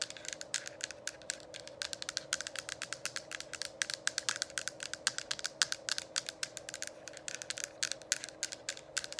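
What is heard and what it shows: Long acrylic nails tap rapidly over the top and sides of a hollow, lit plastic diffuser dome cover. The result is a dense stream of short, bright clicks with almost no ring, over a steady low hum.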